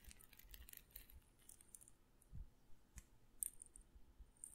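A small glass pepper grinder jar with a black and red plastic grinder cap, partly filled with peppercorns, is held in one hand close by and shaken or twisted. Quiet, dry, bright clicks and rattles crackle through the clip, broken by a few soft low thumps and a sharper glassy tinkle near the end.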